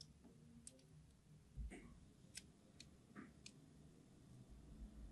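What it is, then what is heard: Hard soap bar being scored with a knife. A craft knife blade scores a crosshatch pattern into a solid red translucent hard soap bar held in the palm, making repeated short scratching cuts. The quiet clip has crisp, bright ticks and scrapes, each fading quickly, over a low, steady rumble.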